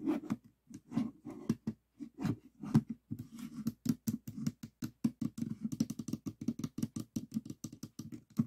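Fingertips tap on the top face of a small stickerless plastic 3x3 Rubik's cube with a hollow mechanism. The result is a long run of quick, dry, hollow clicks with a low body and a bright edge. The tapping speeds up into dense bursts in the second half.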